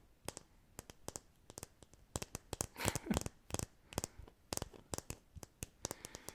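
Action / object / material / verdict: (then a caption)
tap / plastic decorative apple / plastic / fake. A plastic decorative apple, a fake rather than a real one, is tapped in a quick, irregular series of sharp, dry clicks. The taps die away almost instantly, and a brief scratchy rustle sounds midway through.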